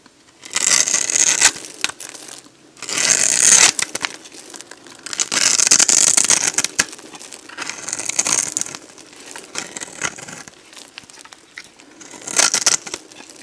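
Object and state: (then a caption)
Dry bar soap being shaved. A solid, dried yellow bar of soap with a ribbed surface is held in the hand while a box-cutter blade shaves crunchy strips off it. Bursts of bright, crackling, crumbly scraping come in several separate passes with short pauses between them.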